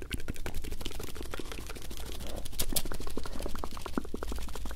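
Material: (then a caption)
Paper. A folded paper US dollar banknote, thin and flexible, is held in one hand close to the microphone while the fingers crinkle and rub it. It makes a continuous stream of quick, irregular crackles and soft rustles over a steady low hum.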